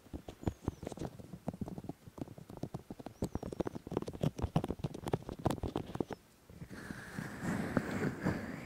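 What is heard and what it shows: Bare fingertips and palms touch and rub the soft, hollow, molded white silicone ear shapes on a black 3Dio Free Space binaural microphone. For about six seconds there is a rapid run of close, muffled, low-heavy pats and taps, then a brief near-silence. After that comes a steady, dense rubbing hiss with a brighter texture that lasts to the end.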